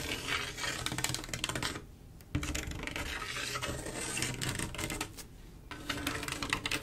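Long acrylic nail tips tap and scratch across a mirror glass mosaic tile picture, a flat panel of silver mirror-glass mosaic tiles with grout. The result is a dense, bright stream of quick clicks and rasping scrapes, easing into quieter stretches around the 2-second and 5-second marks before picking up again.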